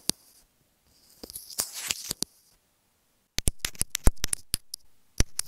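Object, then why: Plastic earphone inline microphone. Long nails tap a small white plastic inline remote microphone on an earphone cable resting on a bed. Sharp, dry, bright clicks come in quick clusters with a soft scratchy rustle between them. A near-silent pause splits them into two bursts.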